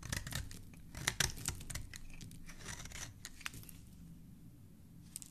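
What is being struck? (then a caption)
Bar of soap scraped by a metal blade. A metal blade repeatedly scrapes and carves the surface of a solid, palm-sized green bar of soap held in the hand, cutting away shavings. Dry, crisp scraping and shaving strokes crackle bright and papery over a steady low rumble, with a few sharper cuts standing out.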